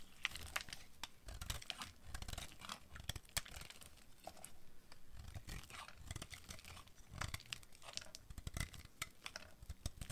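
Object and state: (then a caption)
Dry bar soap being carved. A utility knife blade carves crumbly white chips off a hand-sized, solid bar of dry white soap held in one hand. Dense, dry scraping and crunchy crackles repeat in quick bursts, with bright crisp snaps over a soft low rumble. The soap flakes away in chips.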